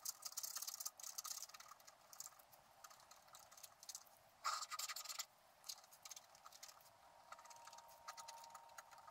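A wooden stylus scratches short strokes into the black coating of a flat, wax-coated scratch-art card, working on a squirrel's body. Dry, bright, rasping scratches come in quick bursts with no low end. A louder, denser stretch of scraping lands around the middle before the strokes return to a lighter patter.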